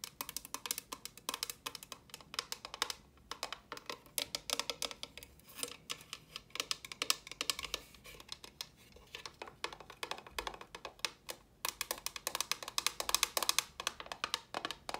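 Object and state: Empty hollow plastic box.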